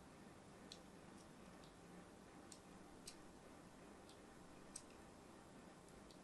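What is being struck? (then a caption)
Solid bar of soap. A thin blade scores diagonal lines into a hand-held, solid purple-and-white striped soap bar. Faint, short, bright ticking scrapes come at irregular intervals over a steady low hiss, each dying away quickly.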